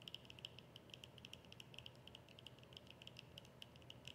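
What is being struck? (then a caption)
Small plastic squeeze tube. Long nails quickly tap and scratch a small, hollow white plastic squeeze tube of cream with a yellow cap. The result is a quiet, steady stream of short, dry clicks with a bright tone around 3 kHz, over a soft low rumble.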